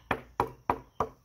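Four sharp knocks on a HYPR UnObtanium Gen 2 carbon fiber prone paddleboard, 12'0" x 20.5" x 8.6" and 208 L, each ringing briefly with a bright metallic twang centered near 960 Hz rather than a dull thud. The solid, metal-like sound reflects how stiff and strong the board is.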